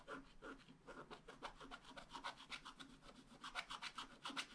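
A wooden stylus scratches dense, short hatching lines into the coating of a thin black-coated scratch-art card lying flat on a table. The result is a quiet, rapid, uneven series of dry, raspy strokes with a bright, papery hiss.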